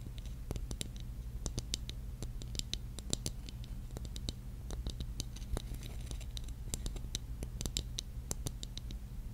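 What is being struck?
Small hollow ornament covered in glass mosaic tiles.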